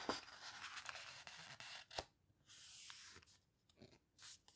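Long-nailed fingers press and rub the pages of an open paper photo book spread to a full-page photo. Soft, bright rustling and scraping comes in bursts, with a sharper tap near the middle and brief quiet gaps between strokes.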